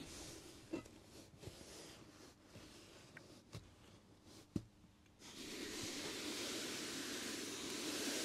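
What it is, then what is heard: Cotton t-shirt. Hands with long dark nails smooth and rub across a plain white cotton t-shirt laid flat on a heat press platen, making a soft, airy brushing hiss. A few faint taps and scratches poke through, then at about five seconds a louder, steady bright hiss takes over and holds to the end.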